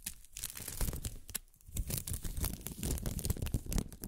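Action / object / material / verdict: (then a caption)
scrape / thin plastic film strip / plastic film / none. A thin pink plastic film ribbon tape is stretched between the hands and crinkled by long-nailed fingers. The result is a dense run of crisp crackling, rustling and tearing-like crunches, with a brief quieter lull near the middle.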